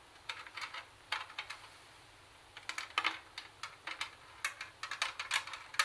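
Very long acrylic nails tap and scratch the perforated metal speaker grille and plastic housing of a hollow, portable Sony CD/tape radio boombox. Some 25 short, dry, bright clicks come in quick clusters, with a quiet pause in the middle. Each tap dies away almost at once, with no low end.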